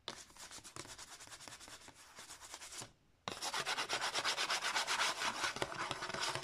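Long nails rub and scratch rapidly across a cream card disc sleeve with an embossed pattern, held open. The quick, rhythmic strokes give a dry, bright, papery scraping that stops briefly near the three-second mark. It then resumes louder and denser until the end.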